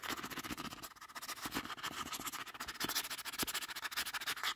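Fingertips and nails tap and scratch the faces and edges of a hollow, medium-sized, dark grey printed cardboard retail box with a barcode, held up in the air. The result is fast, irregular, dry tapping with crisp scratchy hiss and very little ring.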